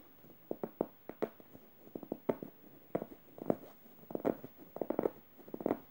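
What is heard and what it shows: A yellow stuffed emoji cushion of plush fabric is scratched with long red nails across the fabric and its felt eye. Short, dry scratching strokes come in quick clusters, some harsh and some gentle, with a soft, muffled midrange tone and no lingering ring.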